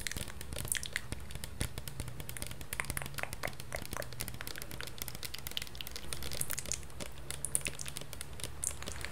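Long painted nails tap and scratch the printed label and sides of a medium-sized, hollow plastic Salon Line SOS Cachos shampoo bottle that is probably partly full. A steady stream of quick, dry clicks and crinkly scratches with bright high edges sits over a low, constant hum, each tap dying away almost instantly.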